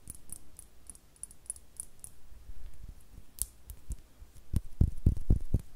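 Long nails tap and scratch a small, hollow, clear glass star-shaped bottle with a cork stopper, which appears empty. Quiet, light clicking and scratching come first, with a few bright ticks. Toward the end, firmer, dull low taps follow in quick succession, each dying away almost at once.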